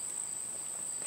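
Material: Nothing is struck.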